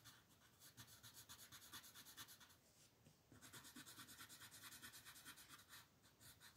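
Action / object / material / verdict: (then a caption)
scrape / wooden colored pencil on a paper sheet / paper / none. A blue wooden colored pencil, held in the hand, rubs and scratches across a flat white paper sheet printed with a mandala lying on a table while coloring its outer ring. Quick, steady back-and-forth strokes make a bright, papery scratching hiss, with a short pause near the middle before the strokes resume.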